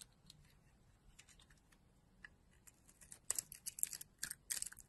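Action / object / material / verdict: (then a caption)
scrape / bar of soap cut with a knife blade / soap / none. A utility knife blade scrapes chunks off a solid rectangular soap bar, black and ridged outside and orange inside, held in the palm. Faint, dry scratching ticks through the first few seconds, then gives way to a series of louder, crisp, bright shaving scrapes with almost no ring after each stroke.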